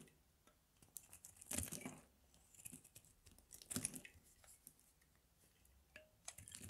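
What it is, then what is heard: Bar of soap being carved. A metal blade carves a palm-sized, solid bar of dry grey Palmolive soap held in the hands, scraping and shaving off thin slivers that pile up on the table. Quiet, irregular bright scrapes and crisp crunches are heard, with two louder, sustained shaving strokes near the 1.6 and 3.8 second marks.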